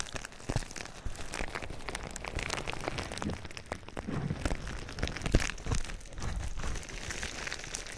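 Fingertips scratch and squeeze clear plastic bubble wrap wrapped around a binaural microphone. A continuous crinkling and rustling is heard, with sharp crackles breaking out over a low, rumbling handling noise and brief bright edges. The level stays fairly steady, with scattered louder peaks throughout.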